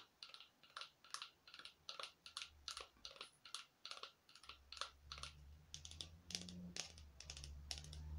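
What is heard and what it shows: A small orange foam artificial craft pumpkin, painted foam or plastic with a hollow look and a twisted stem, is held in one hand and tapped with long acrylic nails. The taps are quick, light, bright clicks in a steady run, each dying away almost at once. A low hum rises underneath in the second half.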